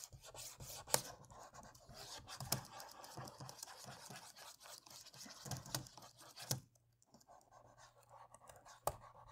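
A cotton swab rubs across the plastic keys of a laptop keyboard in short, dry scratching strokes, with a soft, bright hiss. A few sharper clicks stand out, and the scratching briefly drops away before resuming more faintly.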